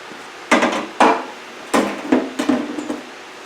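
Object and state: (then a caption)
Steel panel hammered on a dolly, solid metal-to-metal contact. A hammer strikes a steel Triumph Spitfire door skin six times during restoration bodywork, with a curved steel dolly held behind the panel. Each blow gives a short, solid metal-to-metal clank with a low ring near 260 Hz that dies away quickly. The sound is solid rather than hollow, showing the panel is properly backed by the dolly.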